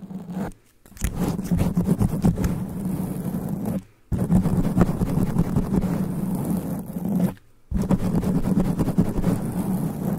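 Long nails scratch a sponge foam microphone windscreen in fast, rough strokes, producing a dense, muffled scraping and rubbing that stays heavy in the low end. The scratching runs in three long bursts separated by brief silent pauses.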